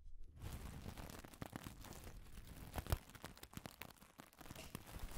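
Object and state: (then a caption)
Pile of wooden pencil shavings. Fingers with long decorated nails crinkle and rummage through a loose pile of thin, dry wooden pencil shavings. After a brief near-silent start, a steady, quiet stream of dry crackles, rustles and small crunches follows, with sharper bursts around the three-second mark and a bright, papery edge over a soft low rumble.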